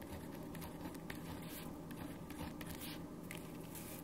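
A black ballpoint pen writes continuously on a single printed white paper sheet resting on a wooden desk. A soft, steady scratching of the pen tip over the paper carries on over a low background hum, with faint brighter scrapes as the strokes change.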